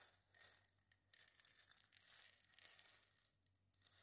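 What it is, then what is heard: Dried gourd maraca scratched and tapped. A single dried gourd maraca is held in the hands while long nails scratch and tap its hollow body. The result is a quiet, bright, papery rasp with a string of tiny clicks and crackles, nearly all of it high in pitch and with almost no low end.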